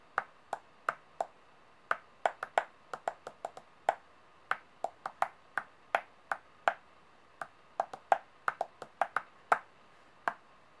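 Long painted nails tap directly on the faces of large solid metal coins laid out on a white table. Thirty-three short, sharp, irregularly spaced clicks are heard, each with a brief metallic ping centered around 785 Hz and a bright upper edge that dies away almost instantly.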